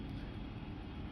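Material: Nothing is struck.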